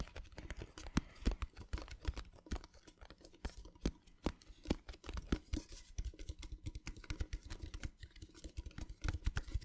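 Fingertips and nails tap quickly on the upturned underside of a small, hollow, rectangular metal tin. The result is a dense, irregular patter of short, dry taps: each has a low hollow thump and a bright click, and it dies away almost at once.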